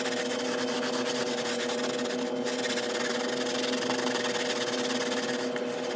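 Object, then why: Pile carpet rug. A handheld yellow and blue scrub brush scrubs vigorously across the pile of a brown and beige rug lying on tiles, while the other hand rests flat on the rug. The sped-up scrubbing makes a dense, steady, bright scratchy rasp with no pauses, over a faint low steady hum.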